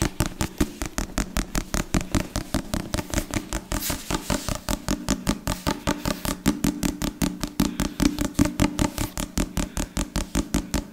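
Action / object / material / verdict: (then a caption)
tap / leather-covered hardback book / leather / none. Fingertips and nails rapidly tap and scratch the cover of a solid, Bible-sized black leather or leatherette hardback book held in both hands close to a microphone. About 56 short, dry taps with a low, woody body follow one another at a fast, slightly uneven pace, with soft scratchy texture between them.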